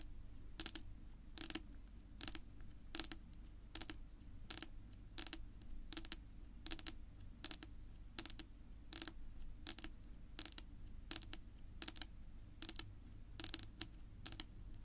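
Long natural nail tips rapidly tap a flat, solid dark wood-grain tabletop, making quick bursts of sharp, bright clicks that stop almost instantly. The bursts repeat at a steady rhythm over a constant low hum.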